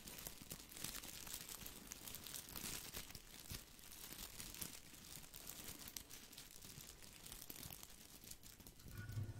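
A small spherical artificial boxwood topiary ball made of plastic leaves is held in the hand and scratched and rubbed with fingertips. It gives a continuous crinkly, crunchy rustling with bright high texture over a low rumble, at a steady soft level throughout.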